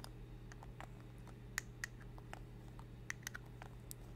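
Long red acrylic nails tap a small, hollow, capped rose-gold metal lipstick tube held in both hands in front of a fluffy microphone. Light, dry clicks with very short ring come at an uneven pace over a steady low hum.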